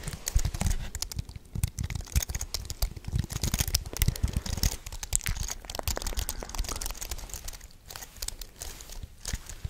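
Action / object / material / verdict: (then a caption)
tap / aluminium-framed keyboard with plastic keys / plastic, aluminium / none. A white wireless keyboard with an aluminium frame and plastic keys is held in front of a microphone while fingertips and nails tap and click its keys, and one hand strokes across the keyboard. Rapid, dense clicks and taps with a dull low thump and crisp bright edges fill the clip, thinning into sparser taps toward the end.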